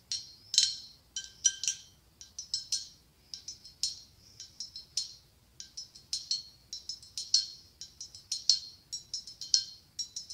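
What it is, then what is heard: Blown glass pumpkin. A medium, hollow, ribbed white blown-glass pumpkin with a gold glass stem, held in one hand, is tapped with long acrylic nails. The taps are quick and irregular and come in bright clustered clicks, with a high glassy ring that dies away almost instantly.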